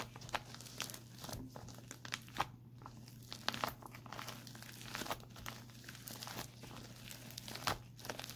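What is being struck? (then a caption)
Plastic instant cold pack. Palms rub and fingertips tap and scratch across the surface of a white printed plastic instant cold pack lying on a lap. The result is a busy stream of soft crinkling and crackling with sharp, bright taps scattered throughout. A steady low hum runs underneath.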